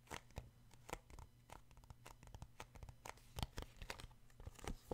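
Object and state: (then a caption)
Paperback book tapped. Fingertips and short nails tap and grip the glossy card front cover of a paperback children's book. Quiet, dry, rapid taps mix with crinkly scratching and gripping sounds, each dying out almost instantly over a faint low hum.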